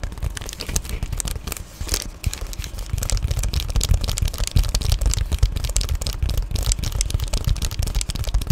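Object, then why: Padded plastic bubble mailer. Long painted nails scratch and tap on an Amazon Prime padded poly bubble mailer, heard up close. Dense, irregular crinkly scratching and soft taps carry a heavy low thump, with bright crackle on top and a brief quieter stretch near the start.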